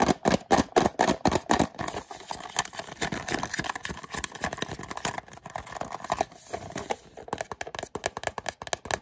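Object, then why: Small cardboard box. Fingernails tap and scratch along the narrow side panel of a small orange and white cardboard retail box held in the hands. Quick, dry, papery taps come in a fast, uneven stream, loudest at the start, then soften into lighter scratching before brisk tapping returns at the end.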